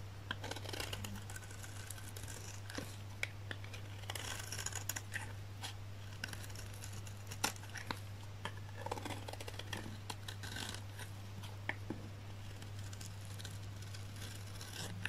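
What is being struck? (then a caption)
Olive oil soap bar cut by a knife blade. A solid, dry green olive oil soap bar held in the hand is shaved into thin curls with a utility knife blade, producing a quiet series of short, crisp, bright scraping strokes. A steady low hum runs underneath throughout.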